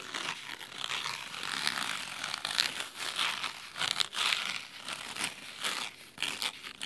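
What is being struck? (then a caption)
Cloth-covered hardcover book. Fingernails scratch along the cloth spine of a large red cloth-bound hardcover book. The result is a continuous, dry, crisp rasping with irregular crinkly bursts, concentrated in the bright high range with almost no low end.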